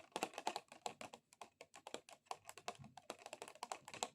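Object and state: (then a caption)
Plastic object tapped with nails. A plastic object is tapped rapidly with long XXL acrylic nails, giving a fast run of about thirty sharp, clicky, keyboard-like taps. Each tap is short and dry with almost no ring, centered around 700 Hz with some bright edge and very little low end.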